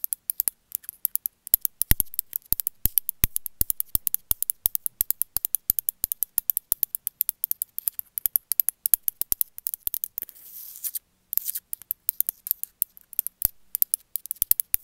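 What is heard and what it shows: A small, gray, glazed ceramic cat figurine held in the hand is tapped with long metallic nails, producing dozens of quick, sharp, bright clicks in an uneven rhythm. Each tap stops almost instantly, and around the tenth second a brief soft hiss fills a short pause before the tapping resumes.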